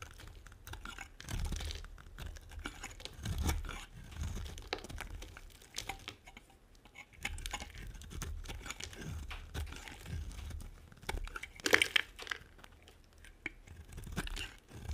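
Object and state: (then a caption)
Dry bar soap being carved. A metal blade carves and scrapes flakes from a solid, dry, tan round bar of soap. The result is a steady run of crisp scraping and crumbly, tearing crunches over a low rumble, with brief bright spikes near the twelve-second mark.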